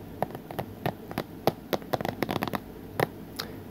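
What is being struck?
Plastic movie case.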